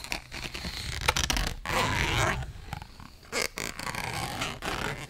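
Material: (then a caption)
Cardboard. Long nails scratch across the surface of a small, thin, flat purple printed cardboard eyeshadow palette box held in both hands. The result is a series of dry, raspy scraping strokes that come in irregular bursts, some brief and some drawn out, with a bright hiss and a soft low rumble underneath.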